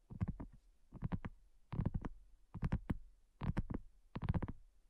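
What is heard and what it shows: Long nails and fingertips tap on a thin, solid, flat round pink dotted silicone coaster. Six quick bursts of soft, dull, low-pitched taps, each fading fast, are separated by short pauses.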